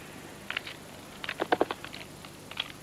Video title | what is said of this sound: Orizzonti lontani: Australia 03. la foresta di eucalipti | picchietta sul legno con le zampe per sentire il suono sordo che tradisce la presenza delle gallerie delle larve